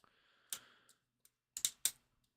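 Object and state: Hollow 3D-printed figure with loose support pieces inside.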